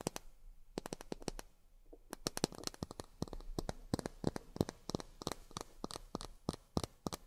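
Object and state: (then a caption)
Miniature plastic glasses tapped with fingernails. Long fingernails tap on miniature plastic drinking glasses in a quick, irregular run of sharp, dry clicks with bright tops and almost no ring. The taps are quiet and close, pausing briefly near the two-second mark before resuming in uneven clusters.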